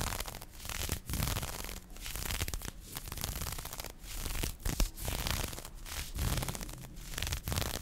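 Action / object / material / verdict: scrape / nylon fishnet mesh arm warmer over skin / nylon / none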